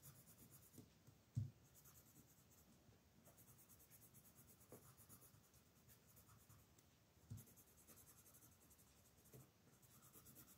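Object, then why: Paper coloring book page under a wooden colored pencil. A blue wooden colored pencil is drawn in steady strokes across a flat paper coloring book page near its right edge while the other hand holds the page. The result is a quiet, continuous scratchy rubbing with a faint high hiss, broken by a few louder soft taps.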